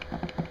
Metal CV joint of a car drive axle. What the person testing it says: when you shake it, you shouldn't hear that clicking sound. That means that it's bad.